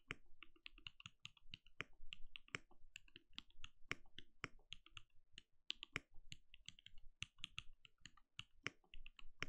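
Steady typing with the bare fingertips of both hands on a compact RGB-lit mechanical keyboard with a translucent plastic case and plastic keycaps, resting on a desk. A rapid, uneven stream of short, sharp key clicks is heard, each with a bright snap around 2 kHz over a soft low thud. Every keystroke dies away almost instantly.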